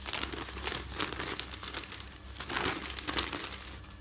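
Fingertips with dark nail polish flip, rub and smooth the pages of a folded stack of thin printed newsprint resting on a bed. The sound is a continuous, bright crinkling and rustling, with sharper crackles as pages turn, over a faint steady low hum.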